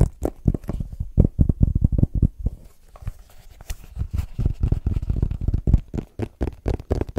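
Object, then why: Small rigid cardboard box. A small, white, rigid cardboard iPhone box is held close in front of a microphone and tapped and scratched with fingertips and short nails. A rapid series of short, dull, low thumps dominates, with a softer, scratchy stretch in the middle before the quick tapping resumes.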